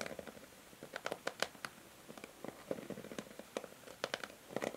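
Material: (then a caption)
Plastic. Long nails scratch and tap across the plastic pins of a pink and white plastic paddle hair brush held in the hand. The result is a quiet, irregular series of short, dry clicks and scratchy ticks with a midrange plastic tone and bright edges, each dying away almost instantly.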